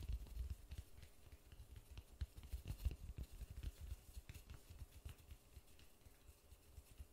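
White-gloved fingers tap and rub a large white polystyrene foam ball held in the hands. The result is a quiet, irregular run of soft, dull, low thuds that die away almost instantly, with faint bright scratchy rubbing between the taps.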